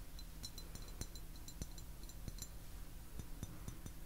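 A medium-sized, hollow, turquoise glazed ceramic teapot with a lid and bamboo handle is held up by the handle and tapped with fingernails. The result is a series of quick, light, clicking taps with a bright, high, glassy ting that dies away almost at once, over a steady low hum.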